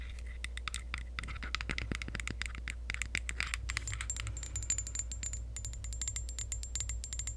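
Long acrylic nails tap and scratch a tall, clear glass perfume bottle with pink decoration that is partly filled. Dense, rapid clicks and bright scraping sounds tick across the clip over a steady low hum. Faint high ringing tones appear toward the end.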